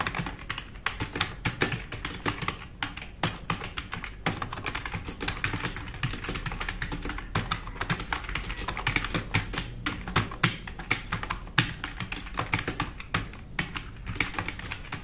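Fingertips of both hands type fast on a black, RGB-backlit, tenkeyless plastic mechanical keyboard with plastic keycaps resting on a wooden desk. A dense, steady stream of sharp, bright clicks and clacks with a low thump underneath runs the whole time, with occasional louder keystrokes standing out.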